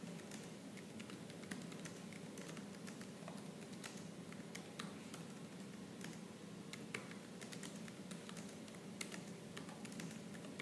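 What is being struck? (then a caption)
Plastic laptop keyboard keys. Fast typing with fingertips on a laptop keyboard with black plastic keys, producing a steady stream of quick, light clicks and taps. The clacks are soft and dense over a low, constant hum, with a few brighter, sharper keystrokes standing out.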